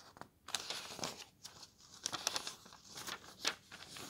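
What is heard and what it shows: Fingertips lift and turn the thin glossy paper pages of an open softcover guidebook, making the pages flutter. Quiet, bright crinkling and rustling comes in short, separate bursts with brief gaps between them.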